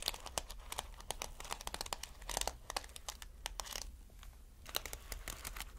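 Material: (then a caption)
Plastic sequins. Fingertips brush and scratch across a multicolored reversible sequin fabric, flipping the sequins over. A dense run of sharp, bright crinkling clicks and ticks sounds over a low, steady rumble, with short bursts of quicker scratching.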